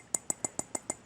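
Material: Glass.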